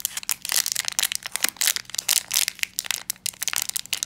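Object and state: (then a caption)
Metallized plastic foil pouch being crumpled. A small black metallized plastic foil blind bag with a pin inside is held in both hands while fingertips crumple and squeeze the foil. Dense, bright crinkling and crackling comes in quick bursts throughout, with almost no low end.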